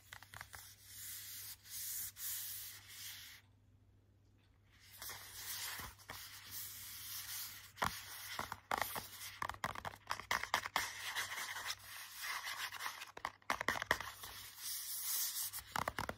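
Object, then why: Glossy hardcover book cover. Fingertips rub and scratch the front and then the back cover of a glossy hardcover children's book. Dry, bright rubbing and scratching swishes in short strokes, stops for about a second, then returns denser, with quick sharp ticks scattered through the strokes.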